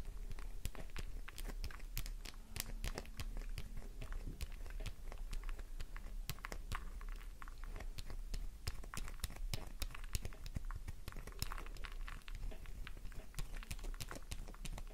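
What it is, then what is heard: Bar of soap being scratched. A solid pink soap bar held in the palm is scratched vigorously with long nails, scraping off crumbly shavings. Rapid, dry, crunchy scratches and crackling clicks follow one another densely throughout, over a steady low hum.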